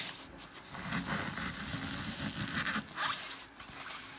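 Fingertips press and crush a glitter-coated green floral foam block that has been turned around, leaving the porous foam pitted with holes all over. The result is a steady, dry crunching and crackling with bright, gritty texture and a few louder bursts of crumbling as the foam gives way.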